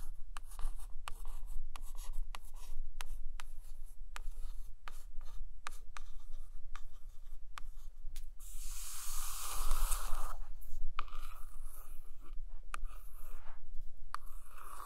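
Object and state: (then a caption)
Glossy hardcover book scratched with nails. A long acrylic nail traces and scratches across the glossy laminated photo cover of a large hardcover book lying flat. Quiet, sharp ticks and light scratches run throughout, with a louder, bright rasping scrape in the middle, all over a steady low hum.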